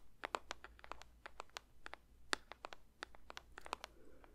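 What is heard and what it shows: A paper box is lightly tapped with the fingers for ASMR, producing a quick, irregular run of around two dozen soft, dry taps. Each tap is crisp and bright with a papery crunch and dies away instantly, over a quiet, low background hum.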